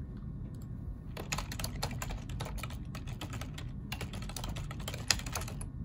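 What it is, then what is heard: Plastic computer keyboard being typed on. Both hands type with their fingertips on a black plastic ergonomic computer keyboard throughout. Quick, bright plastic key clicks run in bursts, beginning after about a second, over a steady low rumble.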